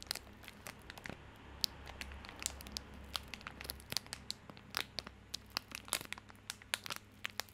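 A small bar of soap in a plastic or paper wrapper is held in both hands while the fingertips crinkle, squeeze and lightly scratch the wrapper. The result is quiet, dense, bright crinkling, broken by many short, sharp crackles and ticks with no ring, over a faint steady low hum.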